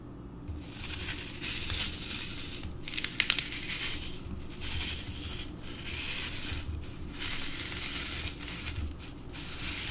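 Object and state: Floral foam block being carved.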